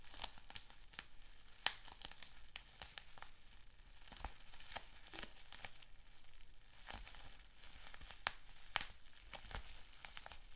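Fingertips pinch and pop a sheet of clear plastic bubble wrap with small bubbles. The result is a steady stream of quiet, sharp, bright snaps and crinkling plastic, with a few louder pops standing out from the rest.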